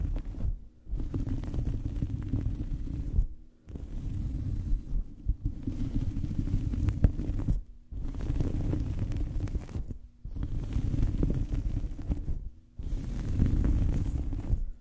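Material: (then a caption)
Cloth. A small fabric towel draped over a microphone is scratched and rubbed with the fingers of both hands. The sound is a dense, muffled, low rumbling scratch, concentrated almost entirely in the bass with no bright content. It comes in six sustained bursts separated by short silent pauses.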